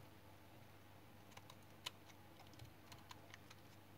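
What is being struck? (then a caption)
Bar of household soap shaved with a metal knife. A small metal knife held in one hand shaves and scrapes the surface of a solid, hand-sized, light brown bar of dried household soap held in the other, and the shavings fall onto a pile below. A handful of faint, short, crisp scratching clicks with a bright edge stand out over a quiet, steady low hum.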